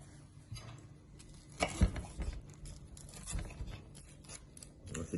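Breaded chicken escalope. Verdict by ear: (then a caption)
Crispy. A breaded chicken escalope is cut for a Caesar salad, producing dull, low-heavy crunching and crackling bursts, loudest in a cluster early on and then trailing into quieter intermittent crackles. The audible crunch shows the breaded coating is crispy.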